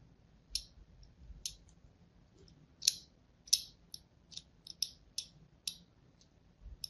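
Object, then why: Bar of soap. A thin blade scores lines into the surface of a solid white Duru soap bar held in a hand with pink nails. About eleven light, bright clicking scratches come at uneven intervals, each dying away almost instantly, with quiet pauses between them.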